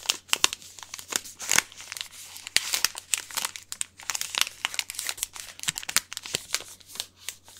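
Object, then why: Small plastic or foil snack wrapper. A small, individually wrapped Hanuta bar in a crinkly plastic or foil wrapper is crinkled and scratched with the fingers. It makes a dense run of sharp, bright crackles and rustles with almost no low end, each snap dying away instantly between quieter scratchy stretches.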